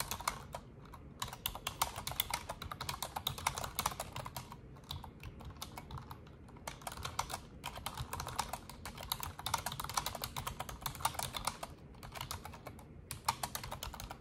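Fingertips with long orange nails type continuously on an Asus plastic desktop keyboard with black plastic keycaps and a silver frame. The result is a fast, dense stream of short, bright, clicky keystrokes with a few brief pauses, over a faint steady low hum.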